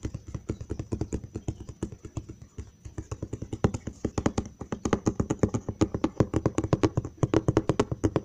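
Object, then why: Cardboard box. Fingertips and short nails tap on the side panel of a large, hollow brown cardboard box, producing around sixty quick, dry taps in rapid, uneven runs. Each tap is a dull, low, hollow thud that stops almost instantly, with little bright edge. The tapping grows slightly louder and denser toward the end.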